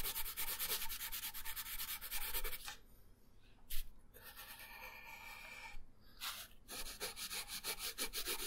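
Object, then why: Colored pencil on a paper sheet over a wooden table. The tip of a wooden colored pencil rubs across a thin paper coloring page resting on a wooden table, making dense shading strokes. Quick, scratchy back-and-forth strokes give a bright, papery hiss, broken by a short quiet pause and a sharp tap. A longer, smoother stroke and a brief burst follow before the rapid shading picks up again.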